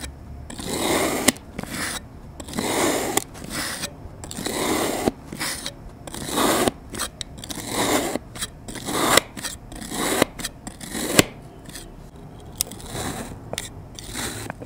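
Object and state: Kinetic sand being sliced.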